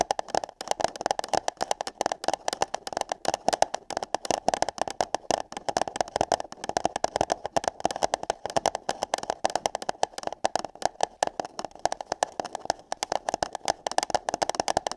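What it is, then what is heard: Paper cup tapped and scratched. Long nails tap and scratch on hollow paper cups placed over the microphone ears. The result is a dense, irregular stream of quick, dry taps with a hollow mid-range tone, mixed with brighter scratchy rustling between hits.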